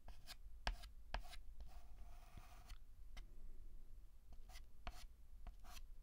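White chalk held in the fingertips scratches across a black chalkboard in repeated short hatching strokes. Quick, dry, bright scratches come in bursts, with one longer drawn-out stroke in the middle, over a quiet low background rumble.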